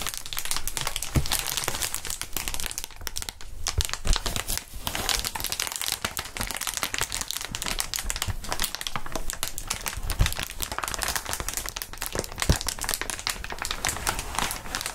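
Hands in fingerless gloves lift, squeeze and crinkle clear inflated plastic air column cushion wrap, its long, hollow, air-filled tubes rustling against each other. A dense, steady bright crinkling runs throughout, broken by frequent short sharp snaps and crackles over a low rumbling undertone.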